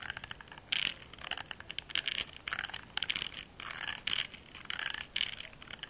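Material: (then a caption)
Silicone. A small, solid pink silicone facial cleansing brush is held close to the mic and scratched and tapped with fingertips and short nails across its textured silicone surface. Quick crackly scratches and soft taps cluster in bright bursts, with almost no low end.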